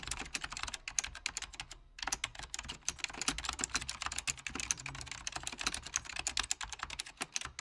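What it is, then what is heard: Mechanical computer keyboard being typed on. Fingertips, with rings on the fingers, type continuously with both hands on an Apple Extended Keyboard II, a full-size beige plastic keyboard with plastic keycaps over mechanical switches in a hollow plastic case. The rapid, bright, short key clicks and taps run throughout, with a brief pause just before the two-second mark.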